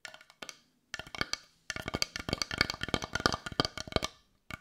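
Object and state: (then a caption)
Carved wooden heart. A solid-looking brown carved wooden heart, held in one hand, is tapped and scratched with long nails. Many quick, dry, clicky taps come in uneven bursts with short pauses, each hit bright and woody with almost no ring.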